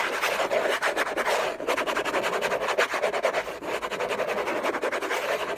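Fingertips and nails scratch the lid of a hollow orange cardboard gift box covered in textured paper. The result is a continuous, fast and uneven rasping of short scratchy strokes with a bright, papery hiss and almost no low end.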